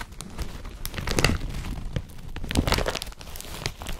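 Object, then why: Woven polypropylene carrier bag. An empty blue woven polypropylene IKEA BRATTBY carrier bag with a yellow strap is gripped, crumpled and rubbed by fingers. Dense, crinkly rustling is heard, with louder crackling bursts near 1.2 and 2.6 seconds over a low rumbling body.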